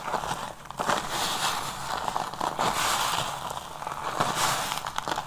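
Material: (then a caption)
Soap. A pile of crumbled, semi-dry yellow and pink soap, loose solid crumbs on a grey tray, is squeezed, crushed and pressed flat by bare hands with short dark-painted nails, with the crumbs rubbed under the palm. Dense crackling, crunching grit runs throughout, centred around 1 kHz with a bright, hissy top. Louder crushing bursts rise in irregular waves.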